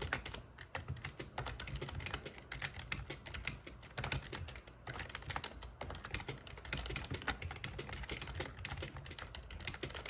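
Fingertips type quickly on the plastic keys of a backlit black plastic gaming keyboard, producing a dense, continuous stream of sharp, bright clicks and clacks that ring only briefly. A steady low background sits underneath the rapid typing throughout.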